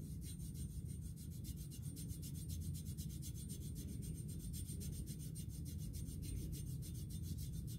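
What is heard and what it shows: Fingertips and nails tap and rub along a black coated music stand tube lying on carpet. A steady low, dull rumble of rubbing runs throughout, with faint, bright scratchy strokes repeating at an even pace on top.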